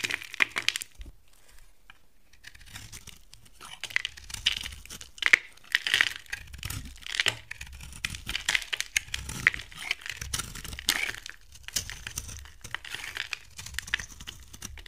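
A box cutter blade carves and scrapes shavings off one end of a solid, rectangular dry bar soap with a gold surface coating and a brownish interior, held in the hand. A steady run of bright, crisp scraping and crackling strokes is heard, with sharp short clicks and irregular louder bursts as the shavings come away.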